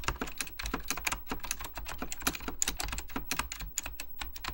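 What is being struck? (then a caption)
Plastic mechanical computer keyboard. Fingertips type rapidly on an Apple Extended Keyboard II, a plastic mechanical computer keyboard with beige plastic keycaps and a hollow plastic case. The result is a fast, steady stream of short, bright clacking key taps that stop almost instantly, over a faint, constant low hum.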